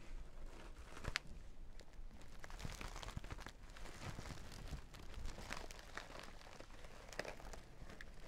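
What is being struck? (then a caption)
Sequin-covered makeup pouch. Long dark nails scratch and tap across the flat face of a small zippered sequin makeup bag covered in reversible sequins. The result is a quiet, continuous crinkly rustle dotted with brief dry clicks and bright scratchy ticks.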